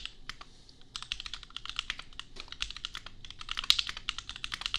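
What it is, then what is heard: Mechanical keyboard with plastic keycaps. Fingertips of both hands type on a $250 custom compact mechanical keyboard with red/pink plastic keycaps and Gateron Milky Yellow switches. Short, bright, dry clacks come in rapid, uneven bursts with very little low end, starting sparse and then settling into steady typing.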